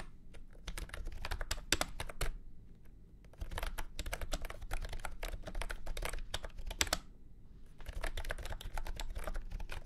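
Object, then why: Plastic keyboard with round keycaps. Fingertips type on a full-size beige and orange plastic retro keyboard with round keycaps and a hollow body, resting on a felt mat. Quick, dry, bright clacks come in busy bursts, with brief pauses near the 3-second and 7-second marks. Each keystroke dies away almost at once over a steady low rumble.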